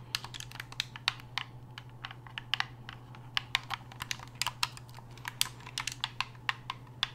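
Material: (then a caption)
Plastic. Fingers click the buttons and shoulder triggers of a black hard-plastic gamepad held upright, making about thirty short, sharp, bright clicks in a quick, uneven rhythm. Each click dies away almost at once over a steady low hum.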